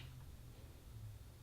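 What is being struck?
Nothing is struck.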